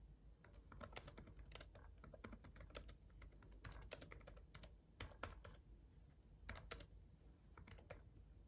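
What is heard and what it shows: Fingertips of both hands tap the red backlit plastic keys of a black gaming laptop keyboard while typing. The result is quick, dry, light clicks in uneven bursts with brief pauses, over a steady low rumble.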